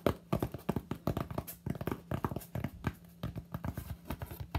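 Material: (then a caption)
Polystyrene foam. Fingertips tap quickly on the flat front surface of a solid white expanded polystyrene (styrofoam) slab held in both hands. The result is a rapid, uneven string of short, dull, hollow knocks, mostly low in tone with almost no brightness, each dying away at once over a faint steady low hum.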